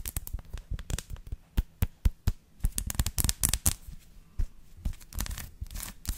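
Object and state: Textured dark chocolate bar.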